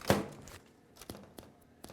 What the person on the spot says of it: if you tap on them they'll sound a little Hollow it's harder with the buns but still they'll sound a little Hollow